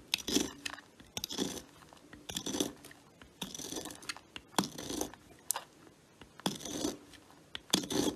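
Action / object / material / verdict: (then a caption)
scrape / bar of soap cut by a metal knife / soap / none. A metal knife blade shaves thin slices off the end of a solid, palm-sized red Lux soap bar resting on a woven mat and held by a hand with long white nails. Repeated soft, crisp scraping and cutting strokes come in bursts of bright, crunchy texture with a quiet low body and almost no ring.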